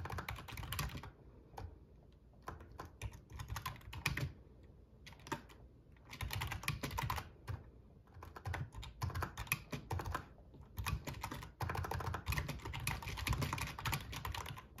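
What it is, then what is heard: Membrane gaming keyboard being typed on. Fingertips of both hands type on a full-size black plastic RGB membrane gaming keyboard with a metal top plate. Bursts of rapid, dry key clacks with short pauses between them carry a low, thumpy body under bright, crisp clicks. Each stroke dies away almost instantly.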